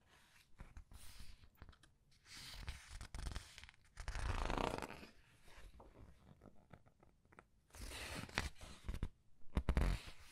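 Several paper pages of the same large art book are flipped and squeezed between the fingers. Soft rustling and crinkling come in uneven bursts over a low, muffled body, with brighter, crisp swishes as the pages turn.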